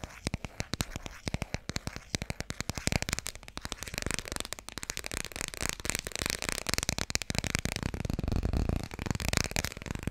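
Fast tapping on the hardcover of the children's book "Dikkie Dik" produces a rapid run of short, dry taps with no ring. Each tap has a low, hollow thump and a bright, papery click. The taps grow denser and slightly louder toward the end, blending into a continuous patter.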